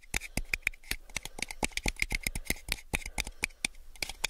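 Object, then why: Clear plastic drinking cup. A small, hollow, empty clear plastic drinking cup is held in the hands and tapped with fingertips and nails while being turned. About two dozen quick, sharp, dry taps come in an uneven stream, each a bright, hollow plastic click with a tone near 2.4 kHz that stops almost instantly.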